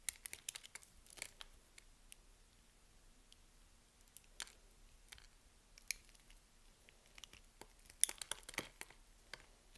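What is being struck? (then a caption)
Soap bar. A box-cutter blade cuts and scrapes small cubes off the surface of a solid pink bar of soap, scored in a grid and held in the hand. The result is a quiet, irregular series of short, crisp crunches and scratchy scrapes, bright and sharp with almost no ring, over a faint steady low hum.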